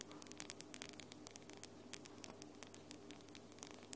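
Long glitter acrylic nails are rapidly tapped with the nail tips of the other hand, producing a quick, uneven run of sharp, bright clicks. The clicks sit over a steady low hum and faint hiss.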